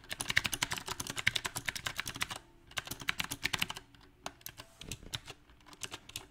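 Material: Plastic.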